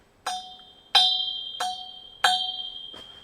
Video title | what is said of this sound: Filling Speaker Stands with SAND - Sound Demo | it's very hollow and it rings. You can hear a very long ring when I knock it.